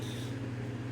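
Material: Nothing is struck.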